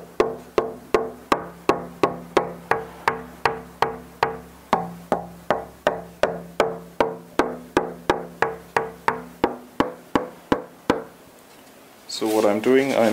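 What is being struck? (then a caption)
Braced wooden acoustic guitar top. A braced wooden acoustic guitar top with freshly carved falcate bracing is held at a point on a brace and tapped for a tap-tone test. About thirty short, even, wood-block-like knocks come at a steady pace, each with a brief ringing tone around 450 Hz that dies away quickly. The taps stop near the eleven-second mark, and a louder, warbling tonal sound follows at the end.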